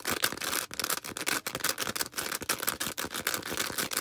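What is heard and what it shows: Long red acrylic nails scratch quickly over a small star-shaped green porous foam sponge. The result is a dense run of fast, dry scratching bursts with a bright, hissy texture, very little low end and almost no ring after each stroke.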